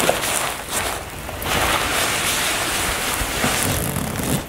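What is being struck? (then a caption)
Soft filled nylon toiletry bag. Long nails scratch across a soft, filled black floral nylon toiletry bag, working over the fabric and the zipper area. The result is a steady, bright, scratchy rustle that swells and dips slightly without distinct separate hits.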